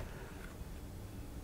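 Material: Nothing is struck.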